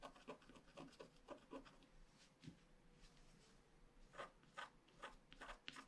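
A wooden stylus scratches the unicorn outline at the upper right of a flat paper scratch-art card with a black coating. The result is a quiet series of short, dry, bright scraping strokes that start and stop quickly, over a faint, steady low hum.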